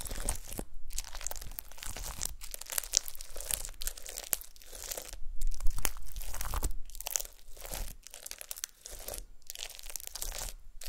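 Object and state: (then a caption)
Glitter slime with confetti. Long nails repeatedly poke and press the surface of a flat, solid disc of gold glitter slime with star confetti. Each press gives bright, crunchy crackling and crinkling, in bursts broken by brief silences.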